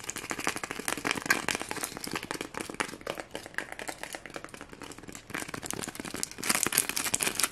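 Fingernails rapidly scratch the red and green sequins on a small white foam Christmas ornament with a red ribbon. The result is a dense, bright, crinkly clicking with a brief quieter stretch in the middle before it picks up again.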